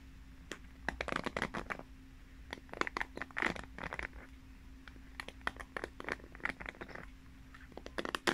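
Long nails scratch and flick across the plastic pins of a pink paddle hairbrush turned bristle-side out, the pins set in a cushion pad. Quick, dry, clicking flicks come in uneven bursts, with short gaps between clusters, over a faint steady low hum.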